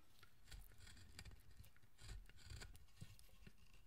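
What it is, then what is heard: Carved wooden statue being worked with a knife. A small knife or chisel scrapes fine detail into the surface of a solid, pale carved wooden statue of the guardian Zōchōten. Quiet, short rasping strokes with crisp, bright edges repeat over a steady low rumble, each scrape dying away almost at once.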